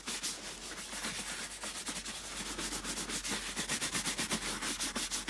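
A small bristle brush rubs over the toe and vamp of a clean, tan leather boot, held up by the foot and hollow and empty inside. Steady, bright, scratchy brushing strokes repeat about twice a second. They grow slightly stronger and more distinct toward the end.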